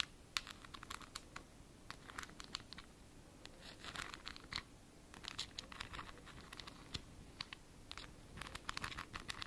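Long nails scratch the white plastic screw lid and glass sides of a small glass jar filled with a greenish substance. Quick, dry, bright scratching strokes come in short bursts and clusters over a faint, steady low background. Each stroke stops dead with no ring.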